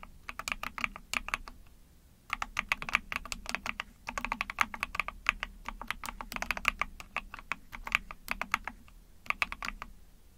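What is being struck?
Mechanical keyboard with plastic case.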